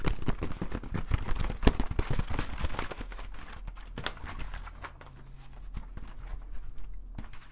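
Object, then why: Woven bamboo conical hat. A large, hollow, green woven bamboo or straw conical hat is held in both hands and tapped and scratched across its woven surface with fingertips and nails. Quick, irregular dry taps and rustling scratches crowd the first three seconds. They then thin into softer, scattered scratching over a steady low hum.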